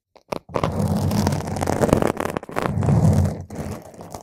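Long pointed nails of both hands scratch a round purple foam microphone cover, producing a dense, crunchy, scraping rustle heavy in low, boomy tones. After a couple of brief taps, the scratching runs almost continuously with short pauses before building again.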